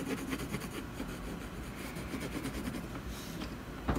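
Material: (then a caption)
Canvas. A colored pencil makes shading strokes along the edge of a solid canvas panel, producing a steady, soft, low rubbing and scratching texture. Near the end, one brief, louder knock stands out above the strokes.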